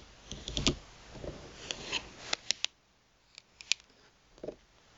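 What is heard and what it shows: Long pointed nails tap and scratch the surface of a thin plastic gift card lying flat on a mat. Quiet, bright clicks and dry, scratchy rustles come in irregular bursts, with a few sharp taps standing out. Each tap stops almost instantly, with no ring.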